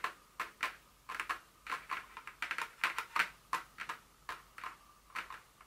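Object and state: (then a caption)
Paperboard perfume box. Long nails tap and scratch the top of a small, hollow, printed paperboard Dior fragrance box lying flat. The result is a quick, irregular run of light, dry clicks and short scratchy bursts with a hollow papery tone centered in the mid-range and bright upper edges. There is almost no low end, and each tap dies away almost instantly.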